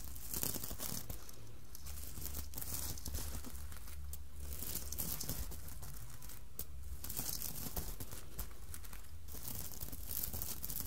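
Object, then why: Fabric hat covered in plastic sequins. Long manicured nails scratch and rub across a soft, floppy red Santa hat covered in small plastic sequins on fabric, lying flat on a table. The result is a steady, continuous crinkling and scraping rasp with bright, brushy textures over a constant low rumble, holding an even level throughout.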